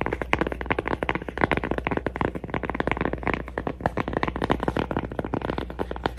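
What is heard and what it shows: A cork coaster is tapped and scratched for ASMR, giving a rapid, uneven stream of soft, dry taps mixed with scratchy rustling. Each tap dies away almost instantly, with no ring, over a faint, steady low hum.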